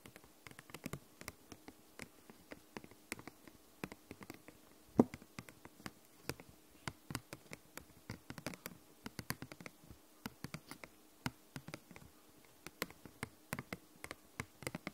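Long nails tap the surface of a glossy purple hard plastic case. The taps are quick, dry and irregular, with a steady low hum underneath. One sharper, louder tap stands out partway through.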